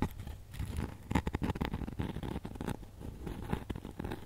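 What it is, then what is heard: Glitter-coated foam ornament. A flat, hand-sized snowman Christmas ornament of foam or polystyrene board coated in white and silver glitter, with a wire hanging loop, is held in both hands and scratched and tapped with long nails and fingertips. A dense run of soft, dry scratching and tapping mixes with crinkly, crunchy grit, its weight low with little high brightness. Each touch stops short with almost no ring.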